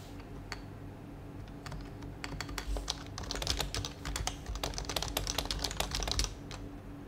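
Both hands type on a white compact HHKB mechanical keyboard with plastic keycaps, fingertips tapping the keys while the mouse sits idle beside it. Sharp, bright plastic key clicks come in quick uneven bursts, sparse at first, then denser and louder through the middle before easing off. A steady low hum runs underneath throughout.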